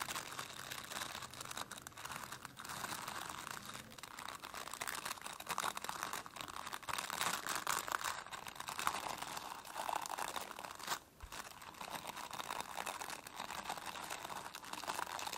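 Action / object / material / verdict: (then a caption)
scrape / plastic brush with dense plastic bristles / plastic / none. Long nails scratch across the dense plastic bristles of a plastic brush, producing a continuous crinkly, crackling rasp. The sound is bright with little low end and centers around 1 kHz, with a brief dip near 11 seconds before the scratching resumes.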